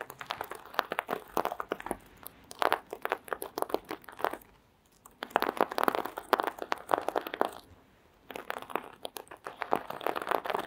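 Long green acrylic nails scratch and flip the plastic sequins on a small sequin-covered fabric mask resting on red faux fur. Dense, crisp crinkling clicks and rattles come in three busy bursts, separated by two brief quiet pauses. The sound is midrange and bright with no low end.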